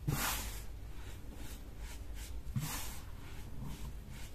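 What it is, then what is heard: Dyed baking soda powder. Bare hands squeeze, crumble and rub a loose heap of peach-dyed baking soda powder between palms and fingertips on a marble-look surface. Two soft, gritty crunches stand out, each with a bright, airy hiss, over a low, steady rustle of grains shifting between the fingers.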